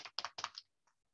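A gloss spray can is shaken so the small marble mixing ball inside rattles, done to mix the contents fully. The result is a few quick bursts of bright, clicky rattling with almost no low end, followed by a faint final tick and silence.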